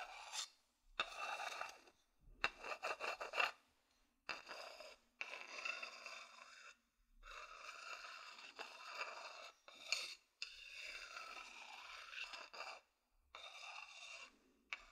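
A medium-sized, hollow, empty wooden bowl is held in hand while its surface is scratched and rubbed with a wooden stick. Bursts of dry, rasping scrapes come with short pauses between them, bright and airy with almost no low end and a faint tone near 2.7 kHz.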